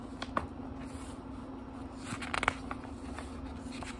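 Fingertips flip the thin paper pages of a small, thick book, making soft, crisp flicks and rustles. There is one light snap near the start and a quick cluster of brighter page flips just before the midpoint of the second half. Throughout, a steady low hum sits under the quiet papery sounds.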